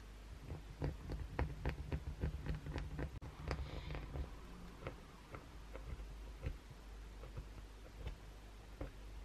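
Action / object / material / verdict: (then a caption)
scrape / soap bar / soap / none. Short fingernails scratch the face and edges of a solid, hand-sized white oval Dove soap bar held above a towel, with blue fake nails resting on the towel below. The sound is a quick, irregular series of dry, crisp scratches and ticks over a steady low hum, each stroke dying away almost at once.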